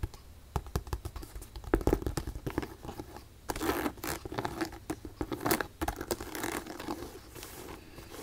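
Long pink nails tap and scratch the leather upper of a single black leather Ugg Neumel ankle boot with a side zipper and thick rubber sole, held in the hand. The result is a quiet, irregular stream of dull taps, soft scratches and brief scraping bursts.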